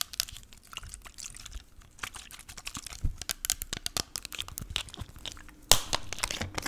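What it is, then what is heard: Plastic spray bottle. Long nails tap and scratch a small clear plastic spray bottle with a white pump, partly full of pink liquid. Quick bright clicks and crinkly scratches run throughout, with a louder scraping burst near the end.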